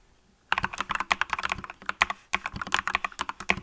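Fingertips with long nails type continuously on a green mechanical keyboard with yellow and green plastic keycaps, using both hands. After a half-second of quiet, about twenty short, sharp clicky key presses rattle out with a bright, crisp tone centred around 1 kHz. There is a brief pause near the middle before the rapid typing resumes.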